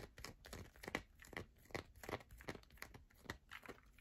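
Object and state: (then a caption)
Bar soap scratched with nails. Long nails scratch across the grooved top of a solid yellow bar of soap. The result is a quick run of dry, crackling scrapes and taps, each a short broadband burst with a bright edge that stops almost at once, over a faint background.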